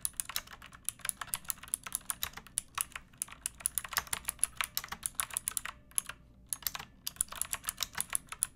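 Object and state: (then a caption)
Mechanical keyboard being typed on. Long nails and fingertips type steadily on a backlit pink mechanical keyboard with round plastic keycaps and a hollow plastic case. The result is a rapid stream of bright, crisp plastic clicks and clacks with very little low end, broken by a couple of short pauses.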